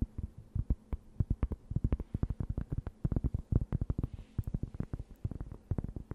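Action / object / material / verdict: tap / thin round cork board / cork / none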